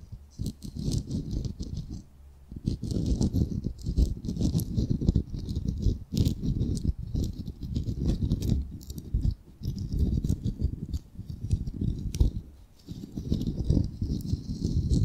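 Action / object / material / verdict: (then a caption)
tap / raw wooden ball / wood / none. Fingernails tap and scratch quickly across the surface of a solid, palm-sized, unfinished ball of raw light wood. The result is dense bursts of dry, rattling clicks and scraping, mostly low and muffled with a faint bright edge, broken by short pauses.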